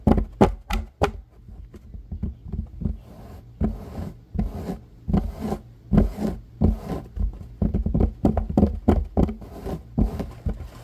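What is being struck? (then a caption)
Fabric-covered baseball cap brim. A fabric-covered, curved baseball cap brim is scratched and tapped with fingertips and nails. Sharp, dull taps mix with soft, papery scratching in an irregular rhythm, with most of the energy in the low range and a faint hiss on top. The sounds are close and dry, with almost no ring after each touch.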